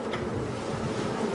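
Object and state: Nothing is struck.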